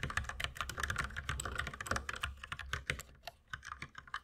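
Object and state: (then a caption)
Plastic mechanical keyboard. Two hands type with the fingertips on a compact white mechanical keyboard with plastic keycaps. The result is a rapid, steady stream of short, clacky keystrokes, each a bright click over a soft low thud. The typing runs dense and continuous at first, then thins into more spaced-out taps toward the end.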